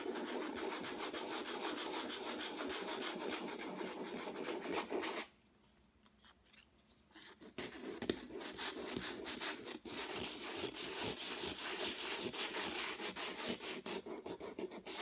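Folded sandpaper pressed under the fingers is rubbed across the lower area of a flat, textured acrylic-painted canvas, making a steady, gritty rasping with quick repeated strokes. The scratching stops for about two seconds in the middle, then picks back up with the same dry, bright scuffing to the end.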